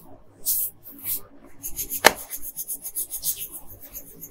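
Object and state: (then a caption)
Colored pencil scratching on paper. A wooden colored pencil makes slow, light scratching strokes on a thin paper coloring sheet lying flat on a table. Two soft, bright hissing strokes come first, then a sharp tap just after two seconds. A quick run of short, dry scratches follows to the end.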